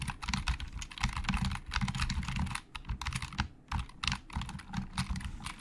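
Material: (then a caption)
Plastic. A black plastic Logitech keyboard with a hollow build is typed on with the fingertips. The result is a steady run of quick, hollow plastic key clicks with bright, clattery tops and a low thump underneath. The typing pauses briefly near the middle before it resumes.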